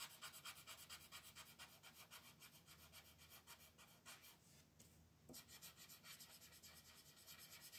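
A green wooden colored pencil is rubbed and scratched back and forth across a thin printed paper page of a coloring book lying flat on a dark wooden table. Quiet, bright, raspy strokes repeat at a steady, brisk pace, briefly fading around the middle before resuming.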